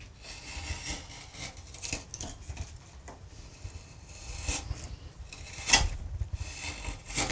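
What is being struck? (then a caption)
Limewood panel and steel carving gouge. A steel carving gouge is pushed by hand, without a mallet, across a large solid carved limewood relief panel with acanthus leaves, paring and scraping the wood surface. Repeated short, bright rasping strokes sound over a low rumble, with one sharper, louder cut near the end.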